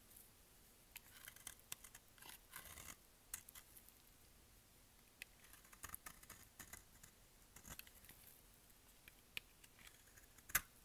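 A solid light-green dry soap bar is held in the hand and shaved with a utility-knife blade in repeated cutting and scraping strokes that throw off flakes. The strokes make quiet, dry, crisp scratches and crackly ticks that are mostly bright with little low end, each dying away almost at once. A sharper, louder snap comes near the end.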